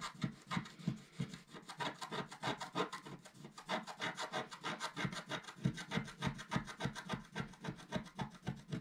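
A wooden stylus, held upright, scratches across the top area of a flat, black-coated scratch art paper sheet. It makes a steady run of short, dry, raspy strokes, roughly three per second, with a low scraping body and a bright papery hiss on each pass.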